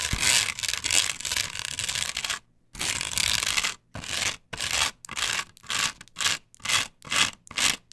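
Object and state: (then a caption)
Nails scratching a plastic stencil on wood. Long pointed nails scratch across a flat plastic patterned stencil that is glued solidly to a wooden board. The result is a bright, hissy rasp, first in long continuous strokes and then in quicker, shorter back-and-forth bursts separated by brief silences.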